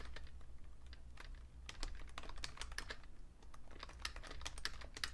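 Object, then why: Plastic computer keyboard. Fast fingertip typing on a vintage beige Fujitsu Siemens full-size plastic keyboard with a hollow case produces a rapid run of short, bright, clacky key taps. The taps sit over a steady low hum.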